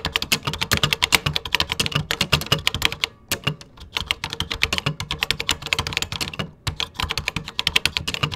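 Fingertips type on a vintage plastic computer keyboard with cream plastic keycaps, producing rapid, bright clacking keystrokes with dull low thumps beneath. The clicks are short and dry, with brief pauses around 3 seconds and 6.5 seconds before the steady typing resumes.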